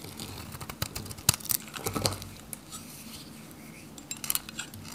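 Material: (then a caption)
Soap. A metal utility knife shaves flakes off a solid pink dry soap bar held in the hand. It makes crisp, dry scraping and cutting sounds in short bright bursts, with sharper clicks at about 1.3 s and 4.3 s and a steady low hum underneath.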